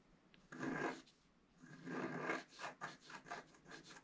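A wooden stylus scratches the black coating of a flat scratch art card of black coated paper, held flat with one hand, working first at the top and then in the middle. Two long, dry rasping strokes are followed by a run of shorter, quicker scratches, with a bright, papery texture and little low end.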